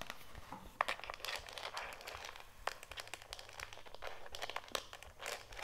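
Long nails tap and scratch the screw cap, handle and body of a white HDPE plastic jug of oxygen bleach, hollow with powder inside. The result is a dense run of quick, dry clicks and crinkly scratches with almost no ring.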